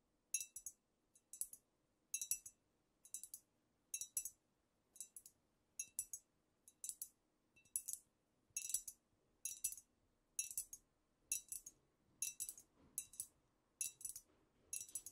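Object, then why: Glass bottle with liquid, tapped with fingernails. Long nails tap rapidly with both hands on a squat amber glass cognac bottle with a paper label, which appears filled with liquid. The result is quick clusters of bright, high clinks that stop almost instantly, repeating in uneven bursts over a quiet background.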